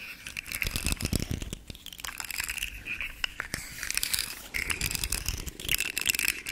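A rainbow segmented hard plastic fidget slug held in the hand has its segments flexed so they click while nails scratch along its ridges. Dense, crinkly clicks and dry scraping fill the clip, bright with a steady tone near 2.7 kHz, alongside soft low thumps from handling. The clicks are sharp and die away at once, with no ring.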